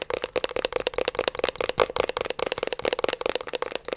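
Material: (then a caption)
Metal. The labeled metal top side of a 3.5-inch hard disk drive, held in both hands, is tapped and scratched with fingertips and nails. Rapid, dense, bright clicks and scratchy taps run throughout, each with a short metallic ring that carries a steady tone around 500 Hz.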